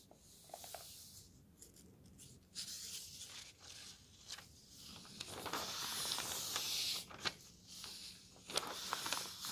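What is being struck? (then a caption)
Thin paper pages of a road atlas. Fingers turn a thin paper page of an open road atlas and a palm smooths it flat. Soft, bright papery rustling and sliding swell and fade, with a few crisp flicks as the page moves, and a steadier hiss as the palm rubs across it.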